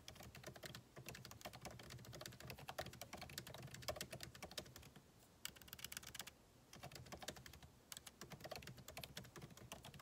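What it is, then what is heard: Laptop keyboard with plastic keys in an aluminum body. Fingertips type steadily on a backlit MacBook Pro keyboard with plastic keycaps set in an aluminum body, producing quick, dry clicks with bright, crisp edges. The key taps run in rapid bursts, with brief pauses around the middle before typing resumes.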